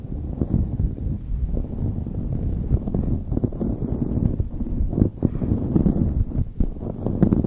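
Fingertips and long nails scratch a light blue knit beanie pulled over a microphone. A dense, muffled rustling and scratching rumbles steadily, heavy in the low end, with quick soft scrapes rising out of it throughout.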